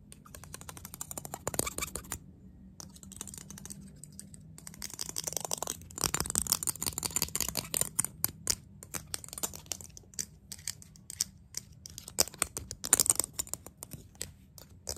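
Fingertips tap and flick a thin, lightweight, small disposable white plastic spoon held close up, making a rapid, irregular stream of short, dry, bright clicks and light rattles. The clicks come in dense bursts with brief quiet gaps, over a faint steady low hum.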